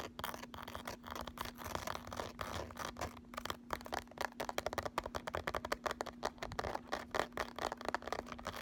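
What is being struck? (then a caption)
Embossed plastic makeup palette case. Fingernails of both hands rapidly scratch the ridged, embossed lid of a thin hollow eyeshadow palette case lying flat, then scratch its ridged edge. The result is a quick, dense run of dry, crackly scratches and taps that stop dead with no ring, over a faint steady low hum.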